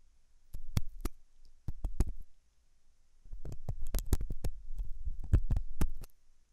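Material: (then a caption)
Silicone. A hooked metal dental tool scratches inside the ear canal of a white translucent silicone ear model made of soft solid rubber, likely fitted on a binaural ear microphone. The result is a series of short, dry scratching clicks and thumps heavy in low rumble, with brief bright ticks on top. They come in irregular bursts separated by quieter gaps.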